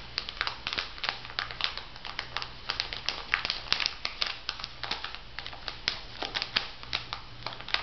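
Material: Plastic film.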